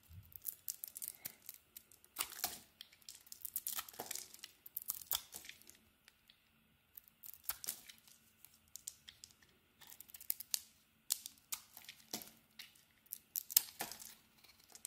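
A green soap bar with a blue coating is carved and peeled with a utility knife blade. The result is quiet, bright, crisp scraping and tearing bursts in irregular clusters, with short pauses between strokes.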